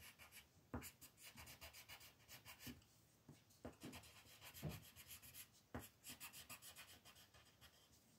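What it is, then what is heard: Paper coloring sheet. A green wooden colored pencil is rubbed in short strokes to shade a flat white paper mandala sheet on a table, while the other hand rests on the paper. A quick, steady run of soft, bright, scratchy strokes is heard, broken by a few sharper, louder taps.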